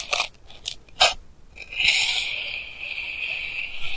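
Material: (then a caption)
Kinetic sand. A clear plastic knife edge cuts repeated lines through a flattened mound of pink kinetic sand. Several short, bright crunching cuts are followed by a longer, steady gritty scrape that stays high and hissy until the end.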